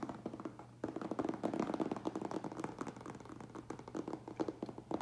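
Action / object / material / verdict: tap / closed cardboard shipping box / cardboard / none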